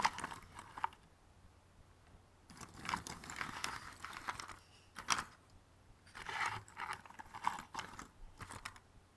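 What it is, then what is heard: Cardboard jigsaw puzzle pieces being rummaged. Fingertips rummage and stir many small, thin, solid cardboard jigsaw puzzle pieces in a white cardboard box on a red table, rubbing and clicking them together. The result is bursts of dry, papery rustling and light clicks, mostly in the midrange with a bright edge, separated by brief quiet pauses.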